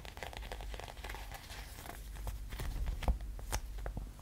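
A small, thin, clear, soft plastic sheet is held in both hands near the camera while fingertips and nails tap, scratch and crinkle it. Quick, irregular crinkles and short bright ticks sit over a steady low rumble, with the sharpest snaps coming near the end.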